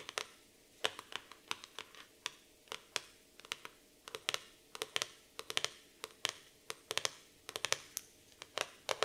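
Long nail tips tap rapidly on the laminated cardboard cover of a black floral hardcover notebook. Sharp, bright clicks come in quick irregular bursts, each dying away almost instantly over a faint hiss.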